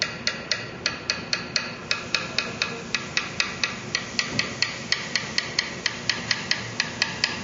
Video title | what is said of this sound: Parker Fly Guitar FRET Repair | the notes changing in in tone but it's still kind of bright